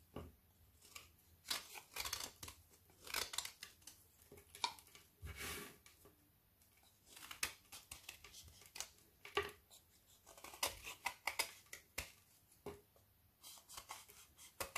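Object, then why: Frozen aerated milk and white chocolate bar. A metal knife scrapes and carves shavings from the edge of a frozen bubble chocolate bar of solid milk and white chocolate, turning it in the hand. Dense, bright, crisp scraping and crackling bursts come in short clusters with brief quiet gaps, each sound dying away almost instantly.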